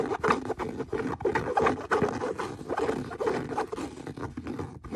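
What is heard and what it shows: Fingernails scratch the leather of the same brown leather boot near the stitching. Quick, irregular scraping strokes follow one another in a dry, rasping texture centered in the low midrange. Each stroke cuts off sharply with no ring.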